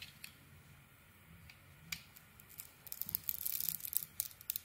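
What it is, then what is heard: Bar of soap being carved. A small metal blade carves and scrapes curled shavings from a palm-sized, solid purple bar of soap with a printed pattern, held in one hand, exposing its white interior. Faint, bright, crisp scrapes come sparsely at first, then build after about three seconds into a denser run of quick, scratchy cuts with no ring after each one.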